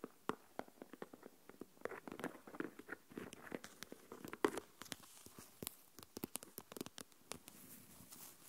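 Long nails tap rapidly on the lid of a small translucent plastic deli tub full of coarse salt and scratch along its sides. The result is a quiet stream of many short, dry, hollow clicks with soft gritty scratching and rustling between them.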